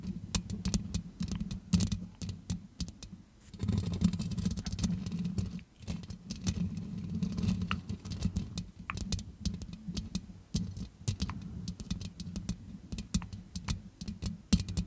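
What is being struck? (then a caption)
Metal mesh microphone grille scratched with long fingernails. Long red nails on both hands scratch steadily across the metal mesh grille of a grey-blue Yeti-style microphone. Dense, rapid scratchy clicks and ticks crackle over a heavy low rumble that swells and fades in bursts, with sharp bright snaps scattered throughout.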